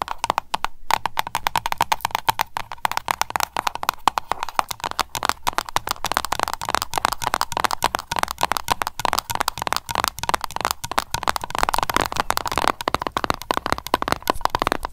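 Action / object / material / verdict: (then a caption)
tap / metal screw lid on a small glass candle jar / metal / none. Long nails tap fast on the metal screw lid of a small glass candle jar. The result is a dense, continuous patter of sharp, dry clicks with a bright ring centered near 860 Hz and almost no decay between strikes.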